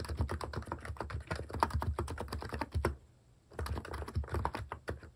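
Fingertips type steadily on a plastic-keycap mechanical keyboard, producing a quick run of short, muted, deep keystroke clacks. The typing pauses briefly around the middle before resuming at the same pace.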